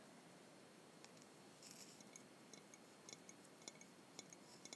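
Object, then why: Glass bottle, partly filled. Long white-painted nails tap a tall, narrow-necked Jones soda glass bottle, partly filled with blue liquid and held in both hands close to a small clip-on microphone. The result is a quiet string of quick, bright, high clicks with almost no ring, over a faint steady hiss.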